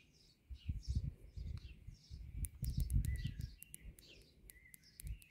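Long nails tap and scratch across the solid, rough concrete post tops of a concrete palisade garden border, making quick, uneven, low dull knocks and gritty scrapes. Birds chirp in the background throughout.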